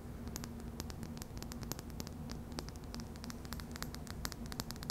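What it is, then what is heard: Glass dropper bottle tapped with fingernails. Long dark purple fingernails rapidly tap and scratch the sides of a small, clear glass serum bottle with a yellow label and dropper cap, held in the fingertips, hollow and partly filled. Quick, bright clicks with almost no ring and soft scraping patter sit over a steady low hum and hiss.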